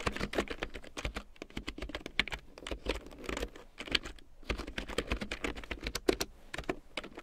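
Long painted nails and fingertips tap rapidly across a full-size large print keyboard with a black plastic frame and big yellow plastic keycaps, lying on faux fur. Dense, uneven bursts of short, dry plastic clicks blend with a soft low thud beneath them, with no ringing after each keystroke.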